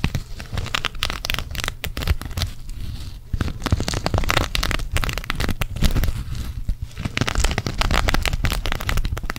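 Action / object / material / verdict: scrape / sequin-covered fabric patch / plastic sequins / none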